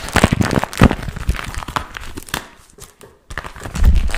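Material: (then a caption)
Vinyl. A small, glossy pink plastic or vinyl zippered pouch with a strap, hollow and apparently empty, is held in both hands and crinkled, squeezed and scratched with fingertips and short nails. Dense crinkling and crackling rustles with soft thumps fill the opening seconds, fade to a near-silent pause around three seconds, then return louder and fuller at the end.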